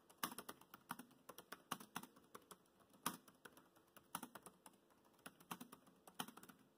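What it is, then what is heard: Plastic laptop keyboard. Fingertips type on a laptop keyboard with black plastic keys, producing a quiet, steady run of about 34 short, crisp clicks. Each tap is a brief, bright plastic tick that dies away almost instantly, with little low-end weight.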